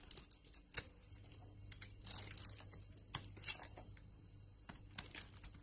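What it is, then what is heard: Soap bar being carved. A utility knife blade carves pieces off a solid striped soap bar with an embossed logo, held in the palm. Crisp, bright scraping and crackling cuts come in bursts over a low steady hum.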